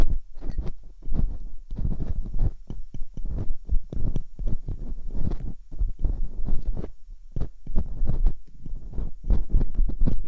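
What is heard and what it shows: Metal dental picks scratch inside the ear canals of both silicone binaural microphone ears. A rapid, uneven stream of muffled, low thumping scrapes and rustles follows, each stroke short and close with almost no ring.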